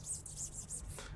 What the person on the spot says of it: ada teksturnya, ada bunyinya juga